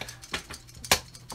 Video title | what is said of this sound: Piraka Mask MOD | you can hear it's wiggling, but it's not coming off